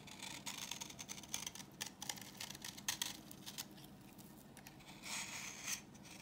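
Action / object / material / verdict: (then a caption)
scrape / bar of soap / soap / none. A solid, translucent orange bar of dry vintage soap is held in the hand and scraped with a utility knife blade, shaving off crumbly yellow flakes. The scraping comes as a quick run of dry, bright, scratchy strokes with almost no ring, quieting briefly before a final denser burst near the end. Beneath it sits a faint, steady low hum.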